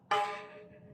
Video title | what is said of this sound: Maingay na HUBS magkaiba tunog - HASSNS PRO 7 HUB #tunogmayaman | Ito yung tunog ng rayos na stainless.